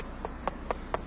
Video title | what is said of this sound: concrete bridge deck repairs construction maintenance 1/2 | if the conc below the deck surface is damaged the bar will produce a hollow sound